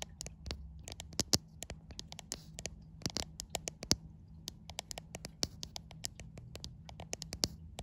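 Long white acrylic nails tap and scratch the front screen glass of a white iPhone around its selfie camera lens, with the phone held in both hands. Dozens of sharp, bright clicks land right at the microphone in an irregular, slow stream. Soft scratchy friction and a faint low hum sit underneath.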